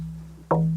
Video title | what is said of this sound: 세계를 감동시키는 한국의 울림 가야금 - 한국의 보물 | 건조는 아직 좀 덜됐지만 지금 잘 나오는 경우고요